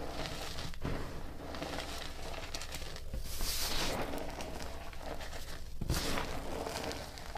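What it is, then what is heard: Loose gym chalk powder being crumbled. Bare hands scoop, squeeze and crumble handfuls of a loose pile of dry, blue-grey reformed gym chalk powder, pressing fingers and palms into it. The sound is a continuous soft crunching and crinkling with bright hiss, broken by a few sharper crumbling bursts over a low rumble.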